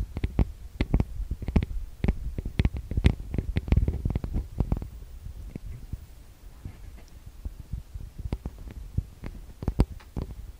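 Fingertips and nails tap and rub on the metal-grille microphone capsules of a TASCAM DR-40X recorder. The result is a run of close, boomy, low-heavy thumps with short bright clicks on top, each dying away almost instantly. The taps come thick and fast at first, then thin out into softer rubbing with occasional sharper taps near the end.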